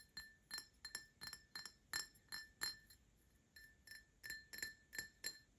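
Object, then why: Glass drinking tumbler. An empty printed Paladone Mario Kart glass tumbler is tapped with short nails and fingertips, giving a run of quick, light clinks at an uneven pace. Each tap rings with a bright, high glassy tone that dies away almost at once, over a quiet background.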